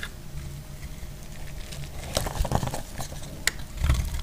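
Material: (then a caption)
Soap. A metal utility blade shaves strips from a solid, dry yellow bar of soap held in the hand. Soft, dry crackling scrapes come in scattered bursts over a low, quiet rumble, with one sharp, bright tick partway through.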